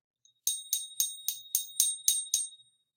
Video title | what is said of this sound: Pure Silver Sound Test | it's a longer ring, but it also has a deeper tone to it